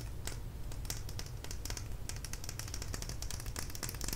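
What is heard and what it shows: A small plastic lip gloss tube filled with product is held in the fingers and tapped and clicked with long nails. Quick, bright clicks and taps come in a fast, uneven stream over a steady low hum.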